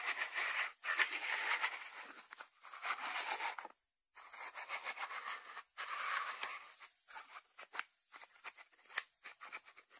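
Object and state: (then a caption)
Ceramic lidded salt dish. Fingertips and short nails tap and scratch the lid of a small, hollow white ceramic lidded salt dish with its lid on, resting on a wooden board. Dense, bright scratching fills the first seconds and breaks off into a brief silence near the four-second mark. It resumes, then turns into quick, crisp, irregular taps with a faint high ring.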